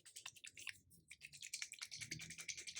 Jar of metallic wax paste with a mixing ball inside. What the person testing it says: there's a ball in there that's going to mix it. So you'll hear that when you shake it